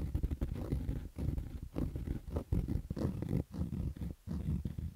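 Fingertips and nails scratch along the lower edge and the crown of a black cotton baseball cap with stitched fabric. The result is a dense, rough, low rumbling scratch in uneven bursts with short pauses, with almost no high content.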